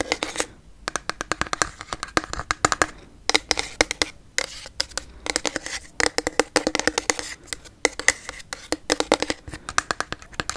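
Long yellow nails tap quickly on a pink frosted plastic toner bottle that is held sideways with liquid inside. The taps come in rapid bursts of short, bright clicks with a hollow mid-range tone, and pauses between bursts. Each tap dies away almost instantly.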